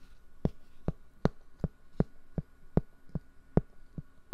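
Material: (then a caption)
Cork. Fingertips tap and rub a large, round, flat, solid cork board held beside and against a microphone. Eleven slow, evenly spaced, thumping taps land at about 75 per minute, each a short, dull, low thud that dies away almost at once. A faint steady hum sits underneath.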